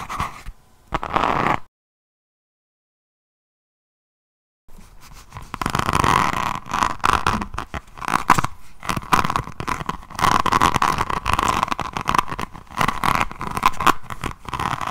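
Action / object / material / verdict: scrape / hardcover notebook with a resin rhinestone cover / resin / none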